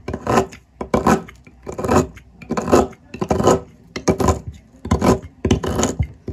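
A metal blade shaves down a solid green olive oil soap block on a table, scraping across the cut face. Repeated rasping strokes come roughly once a second, each a dense, gritty scrape that swells and fades between short pauses.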